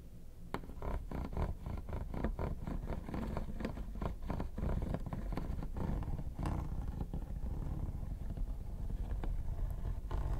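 Two metal tweezers, one in each hand, scratch the textured top of a hollow, mint-green quilted hard plastic vanity case. A dense, continuous run of short, dry scraping strokes with a low, rumbling body carries steadily for about ten seconds.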